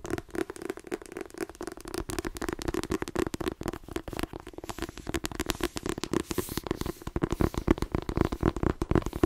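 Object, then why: Paperback book with card cover. A paperback book with a glossy card cover is held by its spine while fingernails tap rapidly on the spine and edge. The result is a dense, uneven run of short, dry clicks with a low, hollow body, growing slightly louder and busier toward the end.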